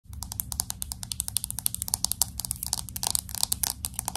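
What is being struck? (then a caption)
Smartphone with glass back and metal frame. Long acrylic nails rapidly tap and scratch the glass back and metal edges of a pink, hand-sized smartphone with an aluminum frame. The result is a quick, irregular stream of dozens of sharp, bright clicks with very short decay, layered with scratchy friction over a steady low rumble.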